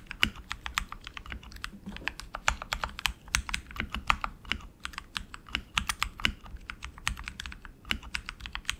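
Both hands type continuously with their fingertips on a tenkeyless RGB mechanical keyboard with tactile switches and plastic keycaps on an aluminum frame. The result is a rapid, steady stream of short, bright clacks with a soft low thump beneath each keystroke, and each one dies away almost instantly.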